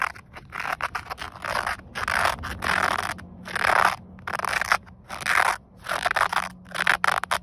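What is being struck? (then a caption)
Woven polyester seatbelt strap. Fingernails scratch the ribbed weave of a grey woven polyester car seatbelt strap, a flat fabric band. It makes dry, scratchy rasping in irregular bursts, bright and mid-high with little low end, separated by brief quiet pauses.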